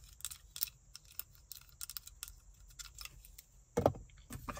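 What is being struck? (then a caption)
Plastic claw hair clip. Long nails tap and scratch over the surfaces and opening of a small black plastic claw hair clip with ridged teeth. The result is a quiet, irregular run of crisp, bright clicks and short scratches over a faint low hum, with a louder, fuller scrape near the end.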